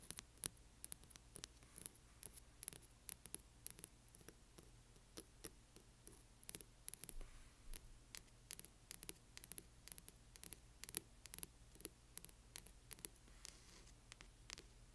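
Long nails scratch the spine and cover edge of a large hardcover book with one hand. Dozens of quick, bright, dry scratches and ticks come in irregular bursts over a faint low hum, each one cutting off almost instantly. The overall level stays quiet and close.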